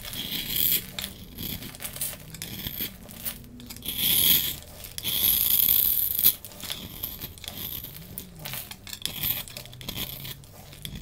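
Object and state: Bar soap being carved.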